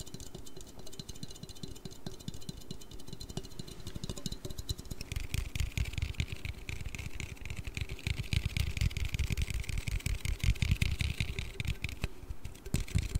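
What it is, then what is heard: Aluminium drink can. A hand-sized blue Red Bull aluminium energy drink can, hollow with unknown fill, is tapped and scratched with fingertips and nails close to the mic. Rapid, irregular taps land as dull, low thuds under a scratchy, bright hiss of nails on metal. The scratching grows denser and brighter about five seconds in and continues to the end.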